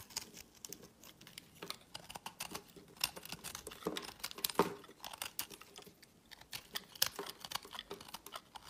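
A hand-held solid bar of pinkish speckled soap is shaved with a metal utility blade, its shavings piling onto a woven mat. A quick run of crisp, bright scraping and crackling strokes is heard, dry and short with almost no low end. A few sharper cuts stand out near the middle and later in the clip.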